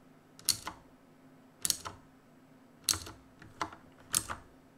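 Fingertips of both hands tap the plastic keycaps of a black plastic-and-metal mechanical keyboard resting on a desk. Seven sharp, bright clicks come in loose, uneven bursts over quiet pauses, each dying away almost instantly.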